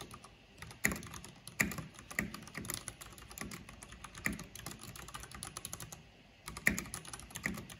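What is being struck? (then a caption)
Mechanical keyboard with plastic keycaps. Fingertips with long nails type continuously on a backlit mechanical keyboard with black plastic keycaps. Rapid clicky taps mix a low thock around 200 Hz with a bright, high clack, and occasional louder strikes stand out. The typing pauses briefly near the end before resuming.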